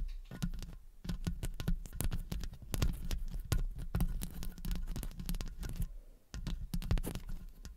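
Long fake acrylic nails tap and scratch the hollow metal wire-mesh head of a silver studio condenser microphone, using both fingertips and nail tips. A rapid, irregular run of dull, bass-heavy thumps and clicks with short scratchy bursts, each dying away almost at once, breaks off briefly near the six-second mark before resuming.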